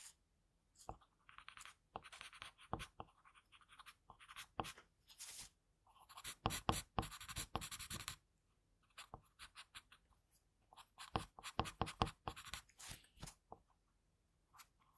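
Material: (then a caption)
Paper. An HB graphite pencil tip scratches fine strokes around the eye area of a pencil portrait on a flat sheet of drawing paper. Quiet clusters of short, dry, bright scratching strokes come in bursts, separated by brief silent pauses.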